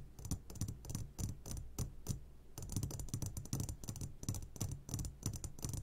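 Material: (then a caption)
Glass. Fingertips tap on the sides of an upside-down clear glass jar full of hard candies. Quick, irregular taps each give a short bright click over a dull low thump, with no lingering ring.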